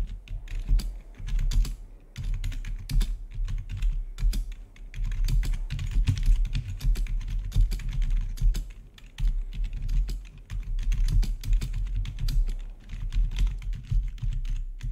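Fingertips of both hands type rapidly on a full-size black plastic backlit RGB gaming keyboard with a hollow housing, heard close up. Fast, overlapping key taps with crisp clicks and a deep, hollow low thump run almost continuously for the whole clip, each tap dying away almost at once.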